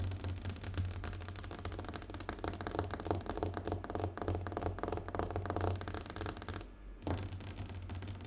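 Fast fingernail tapping on a glass tabletop, a dense stream of quick, light clicks with short ringing tails over a steady low hum. The tapping pauses briefly near the end, then resumes at the same rapid pace.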